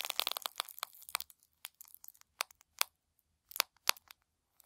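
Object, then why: Thin tissue paper wad. A small, light and airy wad of thin white tissue paper, the kind used as shoe-box wrapping, is squeezed and crumpled in one hand with the fingertips over a wooden table. A dense burst of bright, crisp crinkling gives way to sparser, sharp crackles with quiet gaps between them. Each crackle is short and dry, with almost no low end.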